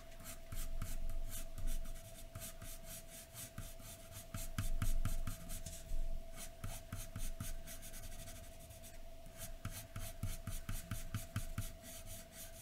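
A graphite pencil held upright scratches a large white sheet of drawing paper lying flat, making repeated short strokes near the edge of drawn hair. The result is a rapid, uneven run of dry, bright scratching bursts over a faint steady tone, with brief quieter pauses between flurries.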